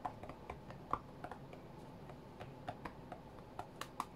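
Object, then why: Glass tablet touchscreen. Fingertips from both hands tap on the glass touchscreen of a white iPad lying flat on a mat. About fifteen quick, soft, dry taps come in an irregular rhythm, each with a short click that dies away almost at once. A low, steady background hum sits underneath.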